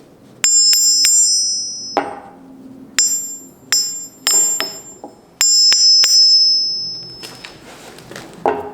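A skinny London pattern forged steel anvil, made in 2019, is struck several times for comparison. Each blow gives a strong, high-pitched bell-like ring that lingers between hits.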